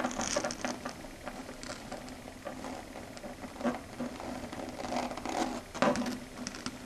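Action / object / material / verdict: scrape / chalkboard surface scratched and tapped with long fingernails / slate / none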